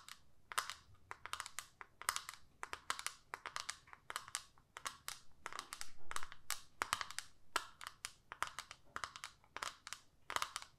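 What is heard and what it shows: Long manicured nails tap and scratch a small, flat, hollow plastic eyeshadow compact with a clear lid, held in both hands. A quick, uneven run of dozens of sharp, dry clicks, pitched around 1.2 kHz with bright upper edges, dies away almost instantly. Brief scratchy rustles fill the gaps between the taps.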